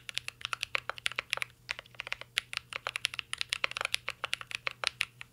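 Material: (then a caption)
Plastic. Fingertips type continuously on a mint-green Cyberboard R3 mechanical keyboard with plastic keycaps and an aluminum case. The result is a rapid run of short, bright clicks with almost no ring, over a faint low hum.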